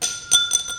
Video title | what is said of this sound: HobbyZone - AeroScout 1.1m - RTF & BNF - Unbox, Build, Radio Setup, & Flights | sounds like glass like a straw yep it's like an extremely incredibly strong straw